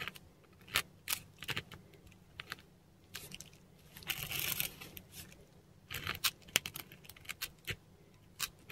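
A metal dip pen nib scratches across a textured Korean paper sheet while writing Devanagari script. The scratches are short, dry and bright, coming in quick irregular strokes with brief pauses, and a longer rasping drag comes near the middle.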